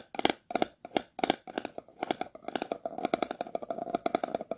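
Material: Plastic.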